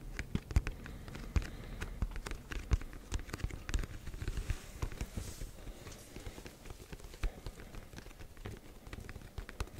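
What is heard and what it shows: The front face of a black printed cardboard Yeti microphone box, held close to a microphone, is tapped and scratched with fingertips and nails. The result is a dense run of short, dull, bassy taps with sharp clicks on top, and a brief, soft, high scratchy hiss in the middle.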